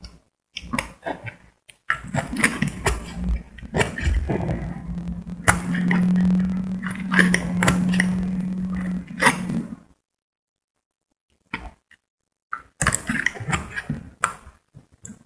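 A metal utility blade scrapes a solid green bar of soap held in the hand, shaving off thin curls. Quick, uneven scratchy strokes sound bright and crackly, with a steady low hum underneath through the middle of the clip. After a brief pause, the scraping resumes in short bursts.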